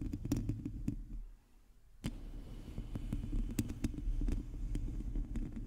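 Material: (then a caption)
Metal mesh. Long teal nails scratch and grip the hollow metal mesh grille of a black microphone, producing dense, low, rumbling scrapes and muffled thumps with quick, bright clicks on top. The handling drops to a near-quiet hush for under a second, then resumes with a sharp tap and continues as busy, uneven scratching.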